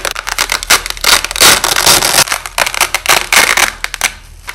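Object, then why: Nylon hook-and-loop tape. A white nylon hook-and-loop tape strip, held in both hands, has its hook and loop layers torn apart in slowed-down audio. Repeated crunchy, crackling rips come in bursts, bright and hissy with almost no low end. The sound tapers off into quieter crackles at the end.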